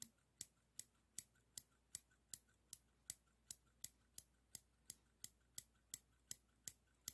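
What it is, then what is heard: Stainless steel scissors snipping. Small solid stainless steel straight scissors, held by the finger rings, are opened and closed repeatedly. Twenty crisp, bright metal-on-metal snips and clicks come at a steady pace, each dying away almost at once into quiet.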